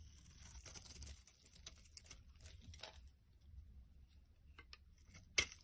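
A knife blade carves and scrapes slabs off one end of a solid pale green bar of soap held in the hand, and the flakes fall onto a wooden surface. Quiet, bright, dry scraping and crisp crumbling crackles come in uneven bursts, ending with one sharper cut near the end.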